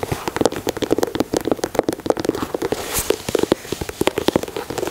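Fingertips with short nails tap and scratch along the side panels, grey speckled plastic/rubber overlays and white laces of a hollow, empty white high-top sneaker (Air Jordan 4 style) with a leather upper and mesh panels, held in the hands. Rapid, dry, close taps land in quick uneven clusters, each with a short mid-pitched knock and no ring. Bright scratchy rustles run between them, including a brief brighter scrape near the middle.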